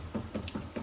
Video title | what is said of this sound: GNHW Presentation Hide Glue and Hammer Veneering | go around with your fingernails and you're listening for hollow sounds